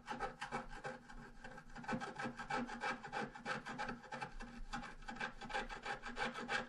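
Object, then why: Scratch art paper sheet with wooden stylus. A wooden stylus scratches the bottom grass area of a thin scratch art paper sheet lying flat. It makes quiet, dry rasping strokes in a quick, uneven rhythm of about three per second, each a brief bright scrape.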